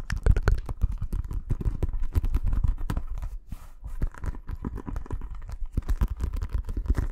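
A green Mitre synthetic leather football, inflated and hollow with a synthetic coated surface, is held close to the mic and rapidly tapped and scratched with fingertips and nails. The result is a dense stream of quick, dull thumps and scrapes, heavy in low, boomy resonance around 80 Hz, with each tap dying away almost instantly.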